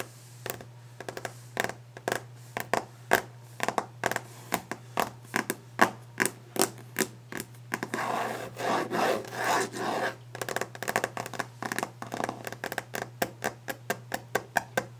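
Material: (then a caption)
Wood. Long nails tap fast and aggressively on a solid varnished wooden desk top, giving sharp, quick clicks in an uneven rhythm. Around the middle, the nails scratch and rasp across the surface in a longer, rougher stretch before the rapid tapping resumes.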